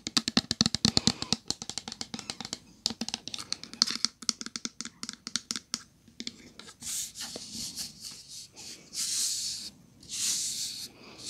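Long gel-polished nails tap rapidly on a medium-size pink opaque plastic Method body wash bottle, which is hollow and apparently full, producing a dense run of sharp, bright clicks. The taps then give way to longer, hissing bursts as the nails scratch across the plastic.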